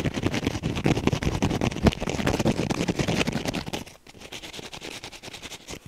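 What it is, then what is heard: Foam kitchen sponge with scrub pad. A hand-sized, soft, porous rectangular kitchen sponge with a teal wavy foam layer and a green scouring pad is held in one hand and scratched fast with the fingernails of the other. The result is a dense run of rapid, dry rasping scratches with a low rumbling body and bright crackle. Just before four seconds the scratching drops noticeably quieter and lighter through to the end.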